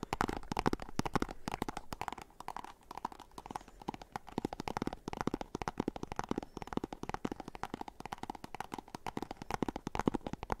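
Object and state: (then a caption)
Small cardboard box, hollow. Fingernails scratch and tap rapidly on a small, hollow, white and orange printed cardboard box. The result is a dense, continuous stream of short, dry clicks and scrapes with a hollow, papery body and very little ring after each touch.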